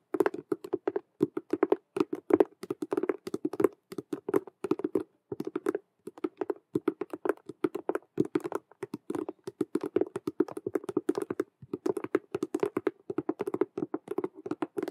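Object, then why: Patent vinyl cube-shaped handbag. Long nails tap and scratch rapidly on the stitched colored squares across the front of a hollow, patent faux leather Rubik's cube handbag made of patent vinyl. Dense, dry clicking taps carry a hollow midrange tone around 390 Hz with a bright scratchy edge, arriving in quick bursts separated by brief pauses.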